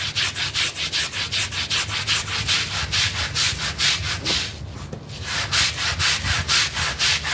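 A pink and green bristle brush vigorously scrubs a wet, foamy blue synthetic pile rug. Fifteen or so rapid back-and-forth strokes give a bright, hissing, rhythmic swish, with a brief softer lull near the middle before the scrubbing picks up again.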